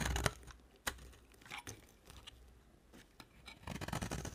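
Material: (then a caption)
Soap. An embossed white oval bar of dry soap is carved and scraped with a box cutter blade. Dry, crumbly scrapes and crisp shaving sounds come with a few sharp clicks. A denser run of scraping builds at the end.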